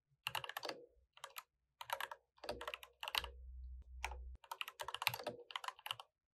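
Two hands type continuously on a mechanical keyboard with plastic keycaps, fingertips tapping the keys in quick bursts. The clicks are bright and short, with a low steady hum under a stretch in the middle and brief pauses between bursts.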